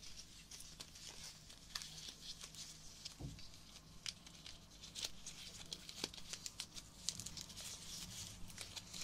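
A small cluster of soft, thin, pink-red fresh rose petals is held in both hands while fingertips crumple, rub and tear them. The result is a dense, close, bright crinkling and soft tearing, full of quick crackles over a faint low hum, with one dull low thump just past the three-second mark.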